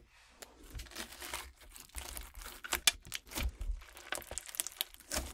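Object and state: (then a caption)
Clear slime with water beads. Long decorated acrylic nails scratch and tap into a flat sheet of clear crunchy slime packed with colorful gel water beads lying on a wooden table, then fingertips press it flat. The result is a quiet, bright run of crisp crackles, pops and crinkling snaps in quick, uneven bursts, with a few sharper cracks standing out.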